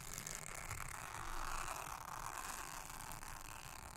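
A soft toothbrush is brushed across a thin, solid, round blue silicone honeycomb trivet mat. It makes a steady, quiet, scratchy brushing hiss that is strongest in the midrange around 1.3 kHz, with a faint low rumble underneath. The sound swells slightly in the middle and has no distinct separate strokes.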